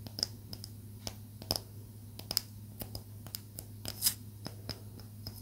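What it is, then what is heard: Palo santo wood stick tapped with fingernails. A small solid stick of palo santo wood is tapped along its surface with long acrylic nails, giving about 17 sharp, dry, bright clicks spread irregularly over the clip. Each tap dies away almost instantly over a steady low hum.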